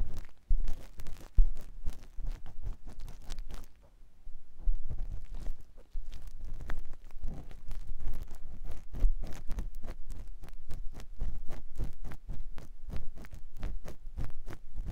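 A clear silicone ear pick scratches inside the canal of a white silicone ear mounted on a binaural microphone block. Quick, rhythmic scratching and rubbing strokes follow one another closely, each a short, dry burst with a heavy low rumble and a faint bright edge. A brief pause falls near the four-second mark before the strokes continue steadily to the end.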